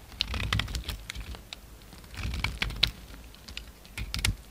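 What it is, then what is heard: Bar of soap being cut. A utility knife blade cuts into and scrapes a solid cream soap bar as it is being shaped. Quick, crisp, clicky ticks come in three bursts over a low, soft thud, with sharp, bright edges that die away almost instantly.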